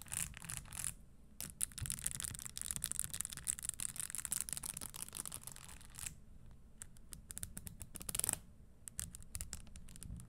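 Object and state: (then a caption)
Spiked leather stiletto pump. Long nails scratch and tap the spikes of a red spiked leather stiletto pump, giving dense bursts of bright, crisp clicks and scraping. Then a single fingernail taps them with sparser, sharper ticks.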